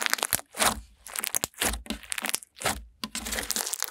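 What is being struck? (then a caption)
Clear glitter slime. Translucent clear glitter slime is pressed under a palm, then poked and pressed with long-nailed fingertips. It gives off a run of bright, crackly, crinkling pops in quick bursts, with very little low end and almost no ring after each squish.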